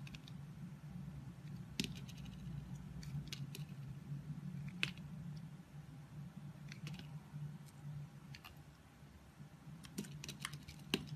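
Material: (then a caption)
Soap. A solid oval orange soap bar embossed "Love Nature" is held in a palm with long nails and carved and scraped with a box-cutter blade, peeling off slices. Short, bright scraping and crisp cutting clicks come at irregular intervals over a steady low hum.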